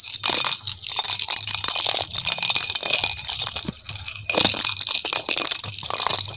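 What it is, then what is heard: Plastic rattle ball. A hand-sized, hollow pink and yellow plastic ball with cut-out holes and a rattle inside is shaken and turned in both hands. It makes a dense, bright, crisp rattling with a high metallic shimmer. The rattling runs almost continuously, dips briefly near the four-second mark, then surges again.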